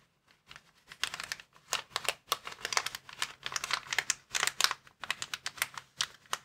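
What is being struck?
Plastic air column cushion bag.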